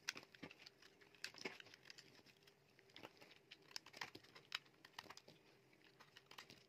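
A metal utility knife blade shaves and carves curls and flakes off a solid, dry, palm-sized yellow bar of soap held in the hand. The result is a quiet run of crisp, bright scraping and crackling ticks, each very short, with a few louder snaps over a faint steady hum.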